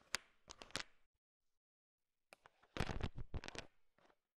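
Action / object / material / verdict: scrape / sugar-shelled peanut chocolates in a bowl / hard candy shell / none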